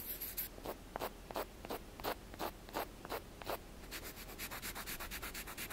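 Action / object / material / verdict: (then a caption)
scrape / wooden block / wood / none. A wooden block is tapped and scratched quickly, producing dry, rasping rubbing strokes with little ring. Broader, louder strokes come at a steady pace for the first few seconds, then give way to a faster run of lighter, brighter scratches.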